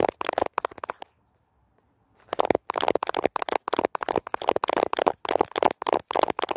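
Fingernails scratch and brush across the white-tipped bristles of a black plastic paddle hairbrush with a handle, lying on a wooden floor. Rapid, dry, crackly scratching strokes come in quick bursts, pause for about a second, then resume steadily to the end.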